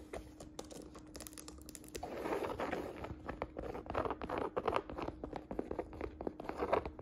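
Fingertips and long nails tap and scratch the textured surface of a woven jacquard canvas saddle bag. Quick, dry taps patter over soft, crinkly scratching that swells into louder rustling bursts after the first two seconds, with a faint steady hum underneath.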